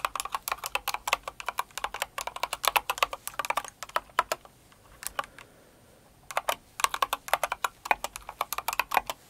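Both hands type with long acrylic nails on a Cinnamoroll-themed kawaii mechanical keyboard with plastic keycaps, producing rapid, bright, clicky keystrokes centered in the upper mids. Dense bursts of typing break into a sparse, near-quiet pause in the middle before fast typing resumes.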